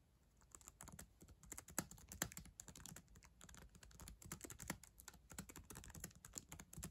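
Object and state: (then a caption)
Plastic laptop keyboard. Long acrylic nails and fingertips type quickly on the plastic keys of a black ThinkPad laptop keyboard, a solid device. After a brief quiet start, a dense run of sharp, bright nail clicks rises over soft, low key thuds, each tap dying away almost instantly.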